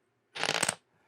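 A chunk of rare, close-grained hardwood is tapped, giving a quick, bright clatter of sharp clicks with a high ring that dies away almost at once. It sounds like plastic, showing how hard and dense the wood is.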